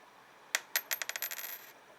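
A 1982 zinc Lincoln cent is dropped and bounces in a series of quick, bright clicks that come closer together before settling into a brief rattle. Each tap dies away almost at once, giving the flat, dull sound of a zinc penny rather than the higher-pitched ring of copper.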